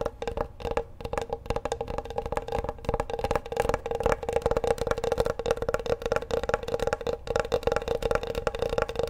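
Fingertips tap the flat surface and edges of a large, solid bamboo wooden cutting board held upright. They make a rapid, continuous stream of short, dry wood-block-like knocks. Each knock centers on a hollow tone around 465 Hz and dies away almost instantly.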